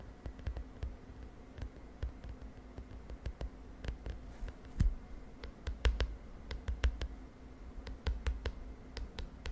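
Long nails tap and scratch the lilac plastic cover of a spiral notebook. The result is an irregular run of short, sharp clicks over a steady low rumble, with scattered louder taps and very little high-end ring.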